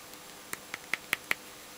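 An electrolytic capacitor pulled from a satellite box is tapped five times, giving short, bright clicks centred around 2 kHz with a faint rattle and almost no low end. The capacitor has puffed and vented, and its paper and electrolyte winding has dried out, shrunk and come loose inside the can.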